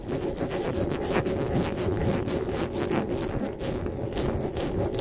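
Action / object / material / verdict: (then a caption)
scrape / metal mesh microphone grille / metal mesh / none. Fingers rub and scratch the top of the metal mesh grille on a black desktop microphone. The result is a steady, dense scratching and rubbing with a heavy low and mid body and brief bright streaks, running without a clear break.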